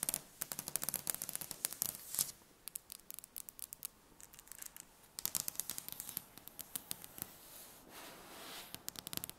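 Long red-painted nails rapidly tap and scratch the surface of a large, solid, polished dark wooden tabletop. Quick bursts of sharp, dry, bright clicks alternate with softer scratching hiss, and each tap dies away almost instantly.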